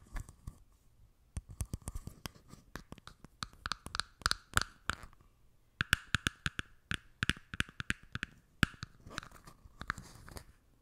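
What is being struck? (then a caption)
Thin plastic cup. A small, empty, hollow, clear plastic cup is tapped and scratched with long red nails, first while resting on the mic top and then while held up. Crisp, dry clicks and scraping strokes come in quick clusters, with a hollow tone ringing around 1–2 kHz above bright, sharp edges. Short pauses split the bursts.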